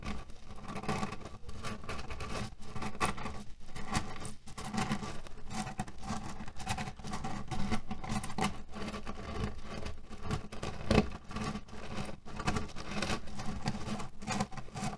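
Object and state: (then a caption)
Cotton pillow filled with cherry pits. Fingertips and nails scratch and press the surface of a cotton canvas pillow filled with cherry pits resting on a table. A steady, dense crunching patter of shifting pits carries on throughout, mostly low and muffled, with a faint low hum underneath.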